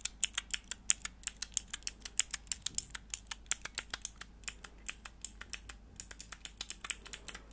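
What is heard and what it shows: Long nails press and click the grey plastic keycaps of a small, hollow, clear plastic mechanical keyboard switch tester with four switches, held in the hands. About 38 sharp, bright clicks come in a quick, steady run, each dying away almost at once over a faint low hum.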